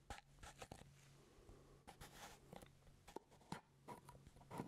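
Fingertips and nails tap and scratch the purple plastic lid of a full grape jelly jar held close to the mic. Quick, dry clicks and crisp scratches come in irregular bursts over a faint, steady low hum. Each tap dies away almost at once.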